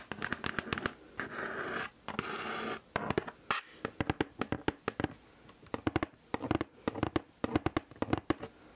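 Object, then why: Cardboard shoe box. A large, hollow, black Nike Air Force 1 cardboard shoe box is held upright beside the mic and scratched along its flat side with long acrylic nails. Quick, crisp scratches and taps come in clustered bursts, with two longer, steadier scrapes early on. Each stroke stops dry with almost no ring, leaving a hollow, papery rasp.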